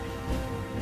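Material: Nothing is struck.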